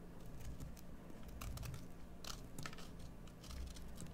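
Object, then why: Bar of soap. A metal carving tool shaves a solid green bar of soap, making a run of short, crunchy, crackling cutting strokes with bright scraping edges. The strokes sit over a quiet, steady low hum and stay soft throughout.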